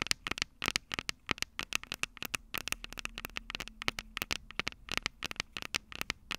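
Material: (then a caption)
Metal. Long purple acrylic nails on both hands tap and scratch the two metal X/Y microphone capsules of a small black plastic Tascam DR-05 handheld recorder held upright. The result is a rapid, irregular stream of sharp, bright clicks and brief scratchy ticks that stop instantly with no ring, over a quiet background with a faint low hum.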